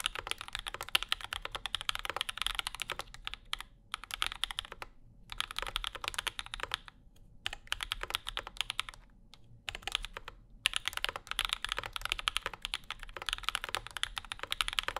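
Fast two-handed fingertip typing on a compact mechanical keyboard with an aluminum plate, Zykos switches and maroon and cream plastic keycaps. The result is a dense stream of sharp, bright clicky-thocky keystrokes, broken by a few short pauses.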